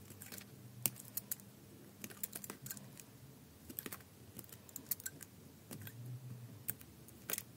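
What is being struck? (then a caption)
Bar of soap cut with a blade. A utility knife blade shaves curled slices from the surface of a solid green bar of soap held in the hand. Quiet, dry scraping and crisp, bright clicking cuts come in irregular bursts over a faint low hum, with no ringing after each stroke.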